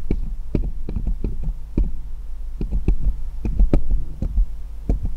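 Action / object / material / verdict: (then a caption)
tap / small steel jeweller's screwdrivers / steel / none. Fingers hold one small solid steel jeweller's screwdriver and tap it against the others lying in a pile. Short, dull clicks come in irregular bursts, each with a brief bright tick over a heavier low thump, above a steady low hum.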